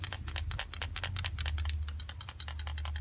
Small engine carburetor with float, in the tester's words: Check that the float isn't stuck. You can hear that it's moving.